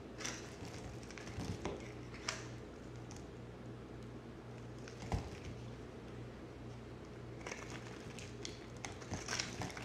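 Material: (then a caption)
Soap. A small utility knife blade scrapes and cuts thin slices from the surface of a solid rectangular orange soap bar held in one hand. Soft, crisp scraping and crinkly shaving sounds come in bursts, with one sharp click midway, over a steady low hum.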